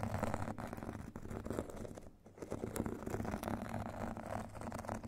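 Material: Foam, grit.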